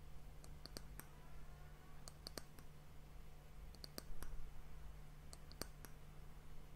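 Long fingernails tap and scratch the flat top of the solid, glossy brown wooden end cap of a glass hourglass. Short, bright clicks come in small irregular clusters over faint scratching, and each click dies away almost at once. A steady low hum runs underneath the whole time.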